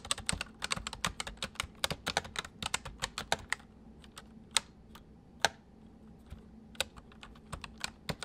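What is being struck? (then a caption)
Plastic mechanical keyboard. A full-size white plastic mechanical keyboard with white keycaps sits on a wooden desk while the left hand types on the main keys and the right hand taps the numpad with its fingertips. Sharp, bright, dry clicks come in a dense rapid run at first, then thin out into sparser, louder individual taps. Each click dies away almost instantly over a faint steady low hum.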